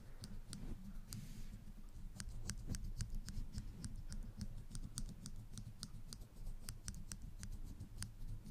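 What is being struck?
Small plastic clothespins with metal springs.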